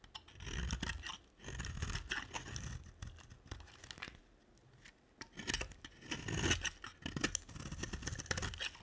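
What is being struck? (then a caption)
Bar of soap carved with a knife blade. A utility knife blade carves and scrapes a solid rectangular, cream-colored dry soap bar held in the hand, with shavings falling away. Dry, crisp scraping strokes come in uneven bursts separated by short quiet gaps. Each burst carries a low rumble under a bright, gritty rasp.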